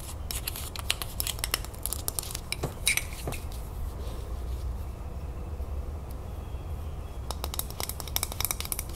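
Long nails rapidly tap and scratch the paper label and the glass of a full glass salsa jar held sideways, close up. The sound is a dense run of sharp, bright clicks and short ticks with a papery scratching rasp, over a steady low rumble. The taps die away almost instantly with no ring.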